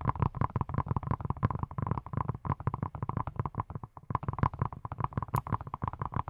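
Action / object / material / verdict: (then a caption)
tap / silicone brush / silicone / none. A hand-sized yellow silicone pineapple-shaped brush, which appears hollow, is tapped rapidly by fingertips wearing silicone rubber pads. The quick, dry taps are soft and thumpy, with a deep low body and a hollow mid tone that cuts off almost instantly. The tapping runs continuously, with only a brief lull near the four-second mark.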